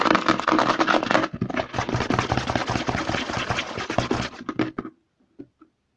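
Fingertips and short nails rapidly tap and scratch the side and front of a white plastic CeraVe lotion bottle held upside down. The result is a dense, busy stream of hollow plastic clicks and scratchy rasps spanning low thuds to bright hiss. It stops abruptly near the end, leaving only a couple of faint final taps.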